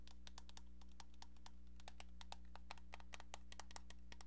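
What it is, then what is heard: Plastic telephone handset. Long painted nails tap on a pink, hollow plastic cordless-style telephone handset with a keypad, making quick, irregular bright clicks. The taps sound over a steady low hum.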